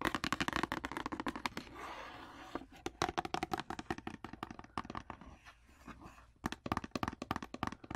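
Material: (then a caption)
Cardboard. Long nails rapidly tap and scratch the side and end panels of a long, rectangular, printed cardboard wax paper box, which is hollow and held close. Quick, dry, hollow taps come in fast bursts, broken by two stretches of papery scratching around 2 and 6 seconds. The taps have a mid-range knock and almost no ring.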